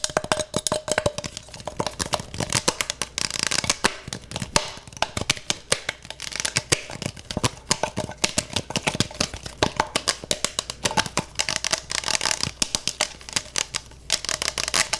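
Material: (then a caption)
Plastic. Fingertips rapidly tap and scratch the outer wall of a clear plastic freezer mug with a gel filling and a handle. The result is a dense stream of sharp, dry, bright clicks and scratches that die away almost instantly, over a faint tone near 600 Hz.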